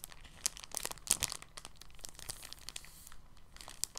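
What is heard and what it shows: An empty, thin, clear polyethylene bag is folded and then crinkled in both hands with the fingertips. The result is quiet, bright, crackly rustling made of many tiny crisp clicks, with a few sharper crackles standing out. There is little low end and no lingering ring.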